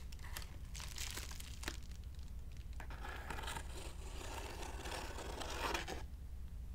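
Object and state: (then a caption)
Padded plastic mailer envelope. A medium white plastic padded poly mailer envelope, closed and lying on a marble table, is scratched and rubbed across its surface with fingertips and nails. Bright crinkling and scratchy rustling come in bursts and streaks over a steady low hum, with the scratching fading out near the end.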